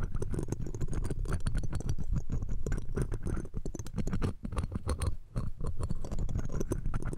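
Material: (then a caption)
Steel mesh. Metal tweezers scratch across the round steel wire-mesh grille of a left-side pencil condenser microphone. A dense, rapid run of crackly scraping and ticking sits over a heavy low-end rumble, with faint high glints above. The level stays steady throughout except for brief dips around 3.5, 4.4 and 5.3 seconds.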